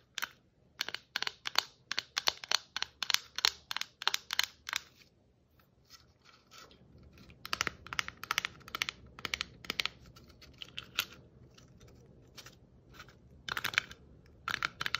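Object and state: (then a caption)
Plastic Christmas ornament ball. Long nails tap and scratch the glittery surface of a hollow red and white striped plastic Christmas ornament ball. A quick run of crisp, bright taps comes first, then a short pause, then softer scratching broken by more sharp, dry taps that die away almost instantly.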